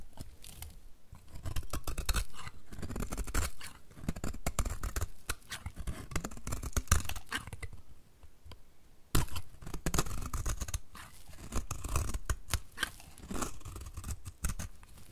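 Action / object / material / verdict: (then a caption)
scrape / bar of soap cut with a blade / soap / none. A utility knife blade cuts and scrapes thin curls from the edge of a solid, dry white soap bar held in the hand. Dense, crunchy scraping and rapid crackling run throughout, with a brief quieter lull near the middle. A sharp crunch then resumes the steady shaving.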